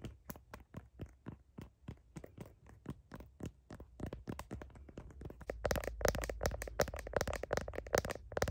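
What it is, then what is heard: Plastic phone case tapped with nails. Fingernails tap and click on a blue heart-patterned plastic smartphone case near the camera. Short, dry clicks come in a loose rhythm at first, then grow louder, denser and brighter from about halfway through, with a crisp high edge on each tap.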